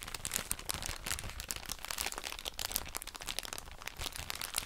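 A soft plastic drawstring bag full of cotton wool pads is crinkled and scratched with long nails. It makes a steady stream of bright, crisp crinkles and quick crackles with almost no ring, over a faint low rumble.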